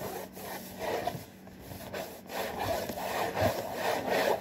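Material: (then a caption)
Cardboard. Fingers with short nails scratch and rub the front panel and top edge of a hollow, printed cardboard saltine cracker box. The result is a dry, papery rasping in uneven, sawing-like strokes, centered in the low mids with brief brighter scrapes. Each stroke swells and fades with no ring.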